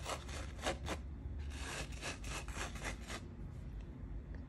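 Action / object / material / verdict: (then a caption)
scrape / sand-covered adhesive card / sand / none. Fingertips with long painted nails rub and pat across a postcard-sized card covered in fine coloured sand on a sticky backing, held in the other hand. Quiet, gritty scratching strokes come in uneven bursts, each a bright, dry hiss that stops almost at once over a steady low rumble.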